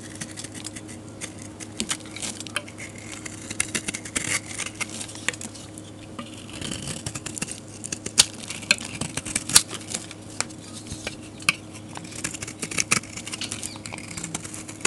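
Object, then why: Soap bar scraped with a metal blade. A metal blade scrapes flakes off the surface of a solid, dark grey rectangular soap bar. The result is a steady run of crisp, bright, scratchy scraping with frequent sharp little ticks and crackles over a faint low hum.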